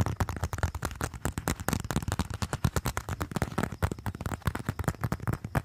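Fingertips rapidly tap and scratch the surface of a small, flat, slim, hollow-looking brown leather wallet (or leather phone case) held up in both hands. The result is a fast, steady stream of dozens of short, dull, low thumps with brief scratchy texture, each dying away almost instantly and carrying very little high, bright sound.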